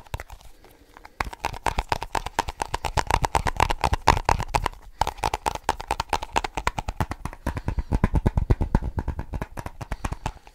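Fast tapping on a small snus container. After a quiet first second, a rapid, slightly uneven stream of short, dry taps begins, each with a low thump and a faint steady tone near 1 kHz that dies away almost instantly. The tapping continues to the end of the clip.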